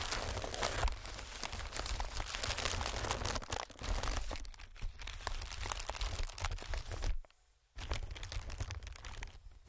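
Fingertips tap, scratch and crinkle an inflated clear plastic-film air pillow, making dense, continuous crackling and rustling with a heavy low rumble underneath. The sound drops to near silence for about half a second just after the seven-second mark, then the crinkling resumes.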